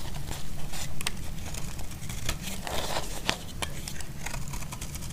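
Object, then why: Bar of soap cut with a blade. A utility blade cuts and scrapes flakes from a solid, dry, cream-white bar of soap, producing crisp, crinkly scraping with scattered sharp, bright clicks and crackles. A steady low rumble sits beneath the quick, dry cuts throughout.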